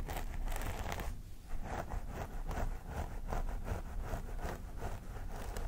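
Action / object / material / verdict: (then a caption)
scrape / synthetic hair on a vinyl doll head / synthetic hair / none. Both hands scratch along the parting of a vinyl mannequin doll head with long grey-blue synthetic hair, using medium-long fingernails. The result is a steady run of crisp, rustling scratch strokes that rise and fall in quick, repeated bursts over a dull low rumble.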